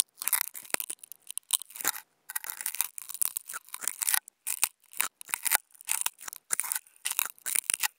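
Two wooden toothpicks held close together scratch across a flat white non-woven fabric sheet. The result is a string of dry, bright, rasping bursts with almost no low end, starting and stopping in an uneven rhythm with short silent gaps between strokes.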